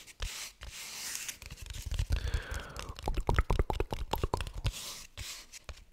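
Fingertips and nails tap and scratch a small, hollow, red patterned rectangular cardboard gift box with a glossy printed surface, held in both hands close to the microphone. Soft, dry scratching hiss opens and closes the clip, with a run of quick, irregular hollow taps in the middle. The taps have a low, dull thud that stops almost instantly.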